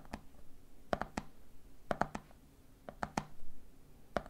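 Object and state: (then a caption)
Plastic peanut jar tapped. Fingertips tap the top of a red plastic lid and fingers tap the side of a medium clear plastic jar full of peanuts. The taps come in quick clusters of three: short, dry, hollow clicks with a mid-pitched knock around 715 Hz. They die away almost instantly against a quiet background.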